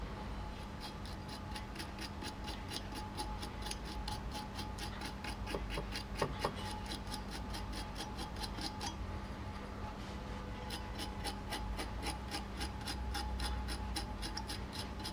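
A pointed metal needle tool held in the fingers scratches score lines into a flat, solid, wet, palm-sized red clay disc centered on a metal potter's wheel head. Quick, bright, rhythmic scratching strokes run over a steady low hum, with a short pause partway through before the scoring resumes.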